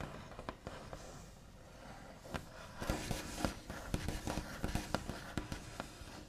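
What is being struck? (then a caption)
Wooden table top. The backs of fingernails, with the fingers curled under, tap and trace across a large, solid, smooth, light-coloured white-finished wooden table top. Soft, scratchy tracing sounds are broken by sharp, dry taps that die away almost instantly, with a low, muted body to each tap. The taps grow denser and louder in the second half.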